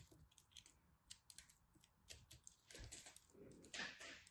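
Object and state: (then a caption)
Pressed soap ball being carved. A small black knife carves and scrapes into a solid pastel pressed soap-flake ball held in the hands, its cut face showing dense solid soap. Quiet, bright, crisp scraping and cutting ticks repeat throughout, with a denser, louder rasp toward the end.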